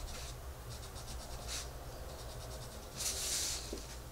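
A pencil tip held in a hand with red nails rubs across the paper page of an open coloring book on a table while coloring a rabbit's face. Quiet, repeated scratchy strokes carry bright hiss, with a louder, brighter swish near the three-second mark, over a steady low hum.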